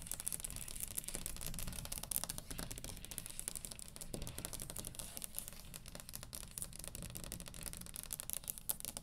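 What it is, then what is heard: Wooden table top. Long green acrylic nails on both hands tap and lightly scratch the flat surface of a large, round, solid wooden table top. The result is a dense run of quick, dry clicks with no ring after each tap, bright at the top, over a soft low rustle.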